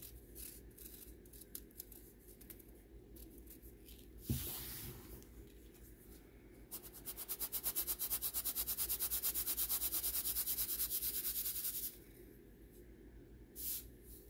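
Pinkish-white clumps of pressed baking soda rub and grind against the wire mesh of a hand-sized, round stainless steel sieve as fingertips grip the rim and shake it. Soft, gritty scratching and rustling is heard, with one sharper bump near the middle. This is followed by a long, steady stretch of fast, rhythmic, bright rasping before the sound drops back to quiet grinding.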